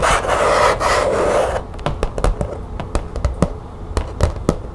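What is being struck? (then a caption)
Thin plastic folder tapped and scratched with fingernails. Long nails scratch across a thin green plastic folder with grommets, making a steady, bright rasping for about a second and a half. They then tap the plastic sheet in quick, uneven clicks that die away almost at once.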